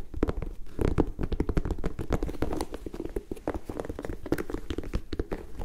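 Long nails scratch across the leather panels and rubber midsole of an empty turquoise and white high-top sneaker held in the hands. The result is a dense run of short, dry scratches and taps, mostly low and muffled, with brief brighter scrapes mixed in.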